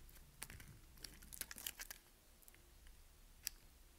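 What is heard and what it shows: A small solid white bar of soap is held between the fingers and carved and scraped with a utility knife blade. The result is a quiet run of dry, crisp crunching and scraping strokes with bright, sharp clicks, the loudest near the middle and one more near the end, over a soft low rumble.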